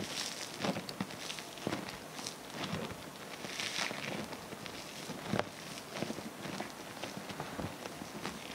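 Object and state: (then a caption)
Foam bead slime being squeezed. Both hands squeeze and knead a large mound of multicolored foam bead (floam) slime on a wooden table. The fingers produce a steady stream of soft, bright crackles and squishy pops, with sharper snaps standing out now and then.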